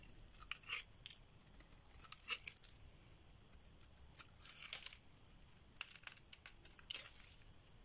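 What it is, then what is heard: Dry bar soap being shaved. A solid pink rectangular bar of dry soap, held in the hand, is shaved with a metal blade, with flakes breaking off. Quiet, bright, crisp scraping and crackling bursts come in short irregular strokes, with faint hiss between them.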